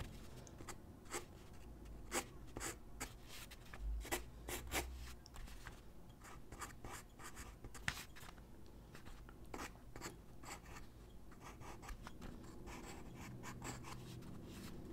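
A graphite pencil held in the hand scratches across a large white drawing paper sheet lying flat on a wooden desk while sketching figure drawings. Quick, dry, bright scratching strokes come in irregular bursts over a low, steady background hum, with each stroke stopping short without ringing.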